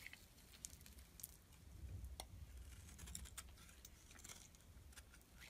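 A metal blade scrapes shavings off the face of a solid blue rectangular soap bar held in the palm. Quiet, crisp scraping strokes with brief bright ticks sit over a soft low rumble, each stroke dying away almost at once.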